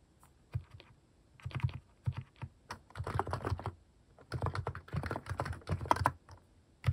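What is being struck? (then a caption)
Plastic mechanical keyboard with cat-shaped keycaps. Fingertips type steadily on a plastic mechanical keyboard fitted with cat-shaped plastic keycaps. Bursts of quick, short clacks with a deep, thocky low end come in uneven runs with brief pauses between them.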